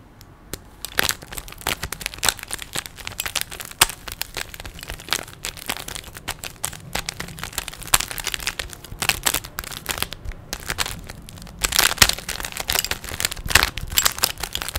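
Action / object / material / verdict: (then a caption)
scrape / hollow plastic puzzle cube / plastic / none. A small hollow plastic 3x3 puzzle cube with stickers is held in both hands while fingertips twist its layers. A steady stream of rapid, bright plastic clicks and clacks follows, with short dry snaps and a louder flurry of turns near the end.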